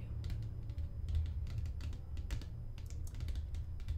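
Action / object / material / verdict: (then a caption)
tap / plastic lotion pump bottle / plastic / none. A medium-sized white plastic lotion bottle with a pump and a purple label, hollow and apparently filled, is held in the hands and tapped with fingernails. Quick, light, bright clicking taps come in irregular bursts over a steady low rumble. Each tap is short and dry, with almost no ring.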